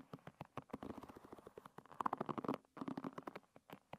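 Long red nails flick and scratch the tips of the many thin wooden pins on a hairbrush. The result is a quiet, rapid run of soft clicks and dry scratches centered in the midrange, with a brief pause partway through before the tapping resumes.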